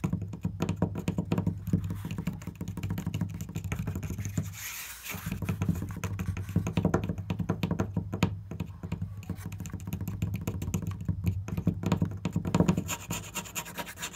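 Fingertips tap quickly and steadily on a wooden surface, making a dense stream of short, dry knocks that are mostly low and thuddy with a faint tick on top. The tapping eases briefly near the middle before picking up again at the same brisk pace.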